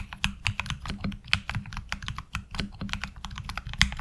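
Both hands' fingertips type steadily on a HyperX Alloy Origins Core tenkeyless mechanical keyboard with black ABS keycaps and tactile switches, resting on a desk mat. A rapid, uneven stream of short, bright clacks sits over a low, hollow thump from each key, and every stroke stops almost instantly.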